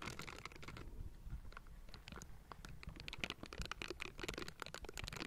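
Silicone bristle gloves scratch and brush both sides of the hollow metal mesh grille of a Blue Yeti microphone. The result is a dense, crackly patter of short scratchy bursts with bright, raspy edges over a heavy low rumble. The scratching grows busier and louder toward the end.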